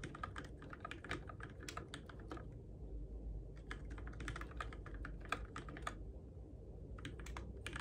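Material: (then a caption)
Plastic. Fingertips tap the plastic keycaps of a Keychron K6 compact RGB-backlit mechanical keyboard in the dark. Bursts of quick, crisp key clacks come in runs, with brief pauses around three and six and a half seconds, over a steady low rumble.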